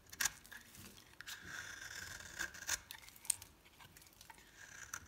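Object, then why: Bar of soap scraped by a metal blade. A metal blade scrapes and shaves the surface of a solid green and pink soap bar held in the hand. Crisp, bright scraping strokes mix with sharp little clicks and crackles over a quiet background.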